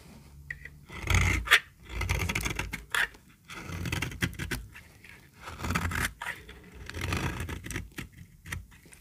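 A small, solid, peach-colored bar of dry soap is held in the hand and scraped and shaved with a metal utility-knife blade. Each stroke makes a dry, crackling scrape with bright, gritty highs and a soft low rub underneath. Short quiet pauses separate the passes.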